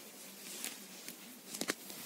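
A soft purple fleece (synthetic plush) cushion cover is tapped and stroked with an index fingertip, then with a flat hand with short nails. Four quiet, soft taps stand out over a steady, bright brushing hiss, each dying away almost at once.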